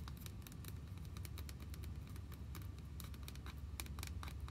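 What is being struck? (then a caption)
Hollow plastic toy pony figure. A hand-sized, white, hollow vinyl/plastic My Little Pony figure with pink hair is held and turned in the hands while long nails tap and scratch it. Quick, light clicks and scratchy taps come in a steady, busy patter over a soft, low handling rumble, with a bright, crisp edge to each tap.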